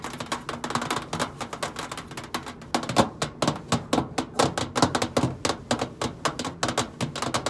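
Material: Stainless steel.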